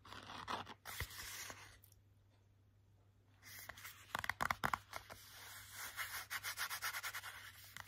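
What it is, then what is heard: Hardcover picture book. Fingertips and short nails rub and scratch the glossy laminated cardboard cover of a hardcover children's picture book. Dry, hissy rubbing strokes give way to a quiet pause of about 1.5 seconds, then a run of quick, crisp scratches with sharp little ticks, ending in steady rhythmic strokes.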